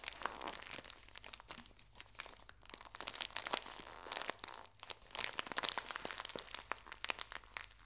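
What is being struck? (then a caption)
Pocket tissue pack in thin plastic wrap. A full, small pocket tissue pack in thin plastic wrap is folded and crinkled by both hands with long nails. The result is a steady stream of quiet, bright crinkles and sharp crackles with almost no low end, swelling and easing as the wrap is worked.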